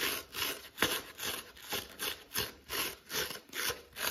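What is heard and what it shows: Fingertips and short nails scratch the green fibrous scour pad and then the yellow foam side of a dry, palm-sized kitchen sponge held in one hand. About nine bright, hissy rasping strokes swell and fade in a loose rhythmic back-and-forth, with almost no low end.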